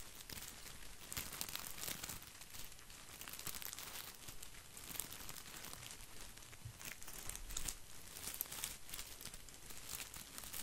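Fingertips brush and scratch the leaves of an artificial plastic boxwood topiary ball held in one hand. The result is a steady stream of dry, bright crinkling and scratching with quick overlapping rustles, over a soft low rumble.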